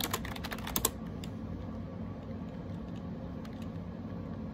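Fingertips type rapidly on the round plastic keycaps of a gray AJAZZ 308i wireless Bluetooth keyboard. A quick burst of crisp, clicky key taps fills the first second, followed by a few faint taps over a steady low background hum.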